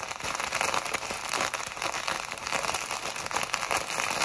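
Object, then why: Plastic packet of foam beads. A small clear plastic packet filled with tiny pink, purple and white foam beads is held in both hands and squeezed and rubbed with long white acrylic nails and fingertips. It makes a steady, dense crinkling and crackling with bright, hissy texture and almost no low end, the packet and beads rustling continuously without pause.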